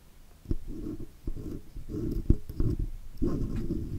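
The tip of a steel dental pick scratches and picks around the edges of a raised chrome oval Blue logo badge on the metal body of a Blue microphone. It makes a series of dull, low, rumbling scratch bursts, each starting with a short sharp click, separated by brief quiet gaps.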